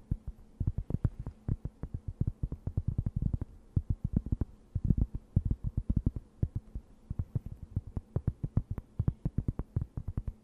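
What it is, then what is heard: Cork board. A thin, solid, round cork board about the size of a plate is held near the mic and scratched and tapped with long nails. A rapid, continuous run of short, dull, low thuds with almost no ring sits over a faint steady low hum.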